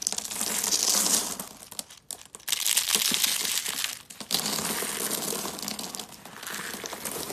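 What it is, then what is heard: Dry soap curls crushed. Cream and dark brown rolled dry soap curls are held in the hands, crushed, and the flakes crumbled between the palms. The result is dense, bright crunching and crinkling in several bursts, separated by brief quiet pauses, with almost no low end.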